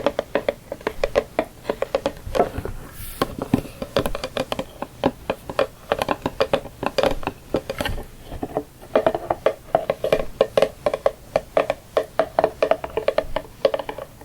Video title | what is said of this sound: ASMR Tapping *More Santa Box!* | it kind of makes sticky sounds almost that's even though it's a cardboard box it sort of has a plastic type surface